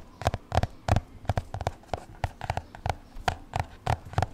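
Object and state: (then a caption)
Spiral notebook cover tapped. Fingertips and nails tap and scratch the black card cover of an upright-held spiral-bound notebook marked "ADORE." The result is a quick, uneven series of dull, low-pitched taps with short clicky edges and no ringing.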